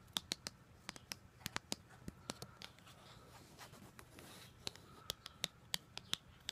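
Long gold glitter nails tap and scratch the surface of a flat white paperboard card or booklet cover, printed with a black line drawing and held close. Sharp, bright clicks ring out in an uneven series and stop almost instantly, with soft, hissy scratching between them.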